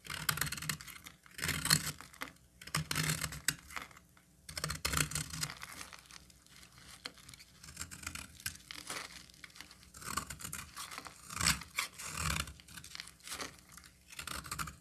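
A solid cream bar of soap held in the hand is scraped and cut with a utility knife blade. Bright, crisp scraping and crumbly crackling come in irregular bursts with a dry, short decay over a faint low hum.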